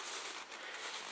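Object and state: Nothing is struck.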